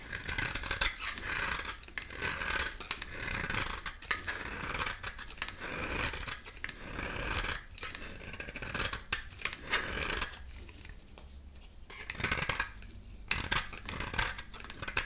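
A dry, solid rectangular bar of soap with a black shell and orange-yellow interior is held in the palm and scraped with a metal utility knife blade, peeling off yellow shavings. Dense, crisp scraping rasps fill the clip with bright, hissy texture, broken by brief quieter stretches between strokes.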